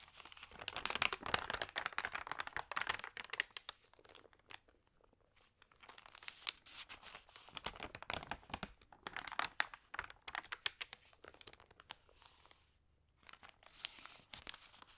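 Fingertips with long painted nails rub, crinkle and turn the thin, lightly wetted pages of a thick, open, water-sprayed glossy printed magazine lying on a yellow tablecloth. Dense, bright bursts of papery crinkling and crunching come in waves, separated by brief quieter pauses.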